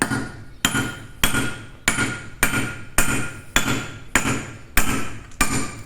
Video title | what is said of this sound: 029 Técnica tradicional para Cortar piedras sedimentarias. Técnicas para cortar la piedra #cuñas | cambia el sonido. Cambia el sonido porque ya suena a hueco, porque ya corta.